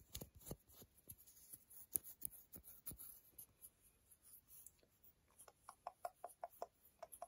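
A solid strip of milk chocolate held between the fingers is scraped by long nails, curling up shavings. Quick, irregular dry scratches and light taps run throughout. Near the end they turn into a run of short, slightly pitched ticks.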